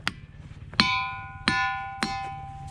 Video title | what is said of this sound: Montana Ringing Rocks | give some of these a smack that one's pretty good